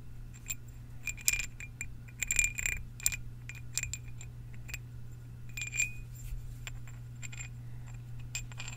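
Two long solid galvanized steel lag bolts with hex heads are held at the fingertips in both hands and rubbed and clinked against each other along their threads. The bolts give irregular bright metallic taps and short ringing chimes. A steady low hum sits underneath throughout.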